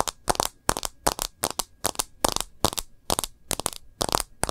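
Long nails tap the edge of a smartphone's plastic case and its glass screen in quick, uneven bursts. Each tap is a sharp, dry, bright click that dies away almost instantly, with short quiet gaps between.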